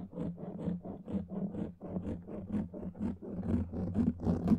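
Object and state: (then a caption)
Foam microphone windscreen scratched. Fingernails scratch and rub over a black foam microphone windscreen, producing a steady run of muffled, low, rumbling scrapes about two strokes per second. Each stroke swells and fades with a soft, dull texture and no bright edge, and the last few strokes grow slightly louder.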